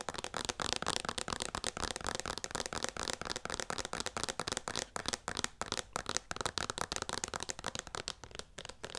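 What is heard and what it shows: A hand-sized, hollow white plastic Skin Repair lotion pump bottle is tapped and scratched with long nails close to the mic. Dense, rapid clicking and scratchy crackles run throughout with a bright, dry edge. There are many quick taps with almost no ring.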